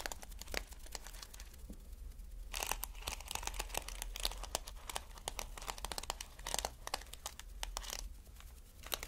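Fingertips and nails brush and scratch across a stretched sheet of reversible flip plastic sequins on mesh fabric, flipping the sequins over. The result is a dense, crackly rustle of bright, fast clicks and scratches that swells into louder bursts, over a steady low hum.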